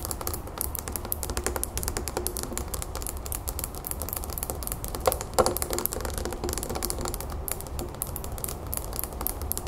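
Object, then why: Small glass planter filled with soil. Long fingernails of both hands tap fast on the sides of a small clear glass planter filled with soil, pebbles and a succulent, standing on a wooden table. The result is a rapid, uneven stream of short, bright clicks that die away almost at once over a steady low hum, with a few louder taps just past the middle.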